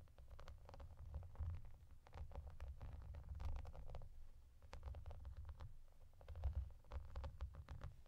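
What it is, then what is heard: Plastic bubble bathmat. Long dark nails scratch and tap across a clear, translucent plastic bubble bathmat covered in small raised bubbles. The result is a dense run of quick, dry clicks and scratches over a steady low, rumbling thud, with brief pauses between bursts.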